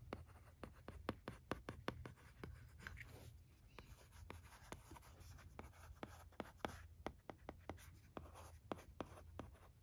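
A red plastic stylus writes cursive on the screen of a teal plastic LCD writing tablet resting on carpet. Quiet, soft scratching strokes are dotted with many short, dry ticks as the stylus taps and lifts, over a faint low rumble.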